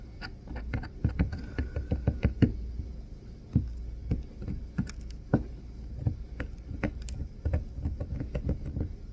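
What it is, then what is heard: Bar soap being carved. A small metal carving tool scrapes and carves a solid green bar of soap held under the fingers, leaving shavings on the hand. A rapid, uneven series of short, dull, low-pitched scraping taps and knocks sounds against a faint low background rumble. Each stroke dies away almost at once.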